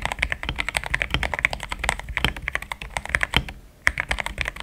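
Fast fingertip typing on a compact, pink-cased mechanical keyboard with cream, thick XDA plastic keycaps, with a solid build. Short, bright clacks with very little ring run in a quick, continuous stream, with a brief pause near the end before the typing resumes.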